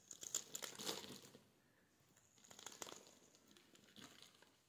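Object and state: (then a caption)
Bar of soap being carved. A metal blade scrapes and carves a solid, palm-sized pink soap bar held in the hand, shaving it into curls and chips. Crisp, bright, crinkly scraping comes in quick irregular bursts: a dense flurry at the start, a quieter stretch, then two softer rounds of shaving.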